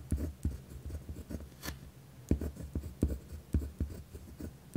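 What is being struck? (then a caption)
Pen on a paper notepad. A pen tip scratches firmly across a white lined paper pad resting on a wooden desk while writing. Short, dry, low scratching strokes come in uneven bursts, with faint bright hiss on some strokes.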